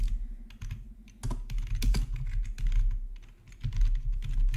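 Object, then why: Plastic membrane keyboard. Both hands type with their fingertips on a plastic RGB membrane keyboard with black plastic backlit keycaps, resting on a marble surface. A steady run of soft, dull keystrokes carries a low thump under brief, bright clicks that die away quickly, with the pace swelling and easing over the few seconds.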